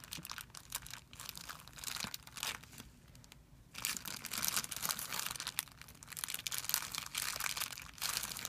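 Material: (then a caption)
Plastic film. Fingertips crumple a thin, clear plastic film bag on a white surface and press it flat, making a dense, bright crackling crinkle. The rustle comes in rapid bursts with a brief near-silent pause in the middle before the crinkling resumes.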